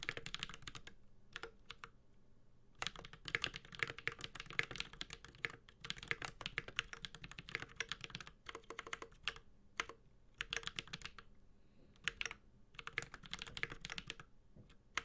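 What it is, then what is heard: Mechanical keyboard, metal case, plastic keycaps. A Space65 Cybervoyager 65% mechanical keyboard with a white-gold aluminum case, carbon fiber plate, Holy Panda tactile switches and plastic keycaps is typed on steadily with the fingertips of both hands. Bursts of rapid, bright, crisp keystrokes with short, deep thocky undertones come in quick runs separated by brief pauses.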